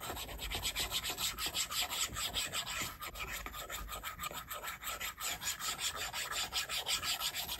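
A plastic stylus tip rubs and scratches in quick, repeated strokes across the flat, solid glass screen of an iPad. Each stroke gives a bright, dry, hissy scrape that stops almost at once, forming a steady, slightly uneven rasping rhythm.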